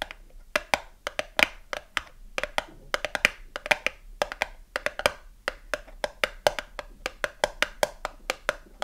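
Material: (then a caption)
Cardboard. Long acrylic nails tap quickly on the narrow side panel of a small cardboard soap box with a bar inside, held on its side. The result is a steady stream of several dozen dry, bright clicks, each dying away almost instantly, with a faint hollow tone around 2.4 kHz.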